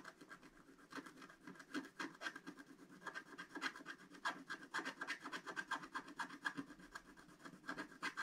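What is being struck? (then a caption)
Coated scratch-art paper scratched with a wooden stylus. A wooden stylus scratches the coating off a flat, black-coated scratch-art paper page in rapid, repeated strokes, about four per second. Each stroke makes a short, dry, rasping scratch with a bright edge around 1.6 kHz. The strokes run steadily but unevenly through the whole clip, each one dying away almost at once.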